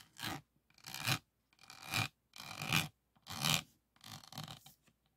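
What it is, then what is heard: Resin diamond painting board. A pink plastic pen tool is rubbed and scraped over the faceted resin beads of a flat resin-bead diamond painting board lying on a table. Six bright, raspy scraping strokes come in uneven bursts with short silences between them, each with a gritty texture and a faint tonal edge around 2.4 kHz.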